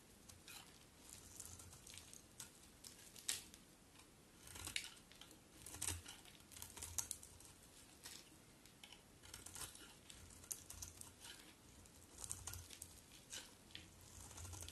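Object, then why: Soap bar cut with a metal blade. A solid, hand-sized cream-white bar of soap is held in the hand and shaved with a metal utility knife blade in a scraping, carving action, curling off flakes of soap. Quiet, bright, crisp scraping strokes repeat with short pauses between them, some louder and longer than others, over a faint low rumble.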